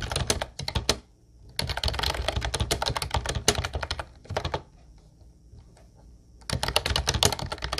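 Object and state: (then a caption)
Plastic typewriter-style keyboard being typed on. Fingertips type rapidly on the round white keycaps of a mint-blue plastic Ubotie retro typewriter-style keyboard, producing dense bursts of sharp, clacky key clicks. The bursts are broken by a brief pause near the one-second mark and a longer near-silent stretch in the middle, where only a faint steady high whine remains, before fast typing resumes at the end.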